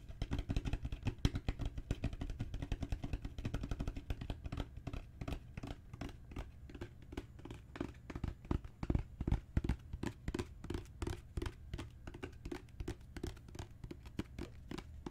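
Long natural fingernails tap and scratch a solid, dark brown genuine leather book cover with raised bands. Rapid, dense tapping gives way to sparser, spaced taps. Each tap is a dull, low, muffled knock that dies away almost at once, with soft scratching between.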